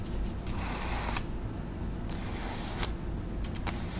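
A flat, thin white paper envelope held in both hands is scratched and tapped across its surface by long acrylic nails. Bright, papery scratching strokes come in broad swells, then give way to a few quick, crisp taps near the end, over a steady low hum.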